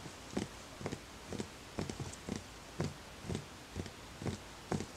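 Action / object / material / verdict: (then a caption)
tap / small wooden bowl / wood / none. Fingertips tap the outer wall of a small, empty, hollow wooden bowl in a steady, slightly uneven rhythm, about two taps per second. Each tap is a soft, short knock with a low, hollow body around 200 Hz and a faint bright click on top. Every tap dies away almost at once against a quiet background hiss.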